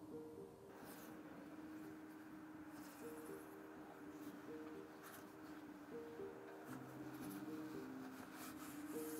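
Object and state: Nothing is struck.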